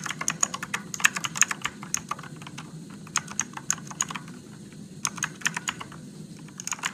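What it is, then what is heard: Plastic mechanical keyboard. Fingertips type on a Motospeed RGB-backlit mechanical keyboard with blue switches and plastic keycaps in a dark room. Bright, sharp clicks come in quick irregular bursts, each dying away almost instantly, with a short lull near the middle. A soft, steady low rumble sits underneath throughout.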